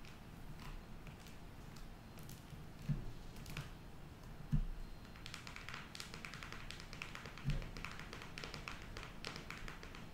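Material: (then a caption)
Cardboard. A closed cardboard eyeshadow palette, held upright, is tapped rapidly with long nails. Quick, dry, clicky taps run throughout, with a few slightly louder knocks standing out over a steady low background hum.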